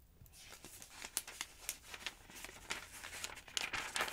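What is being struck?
Thin paper phonebook pages.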